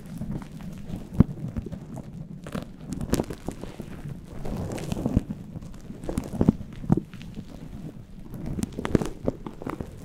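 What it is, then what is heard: Furry synthetic microphone windscreen being rubbed and scratched. Fingertips and nails rub and scratch a fluffy faux-fur synthetic windscreen on a microphone, with both hands holding it. A continuous low, muffled rustling and brushing fills the clip, broken by many soft, short scratchy crackles and occasional brighter flicks.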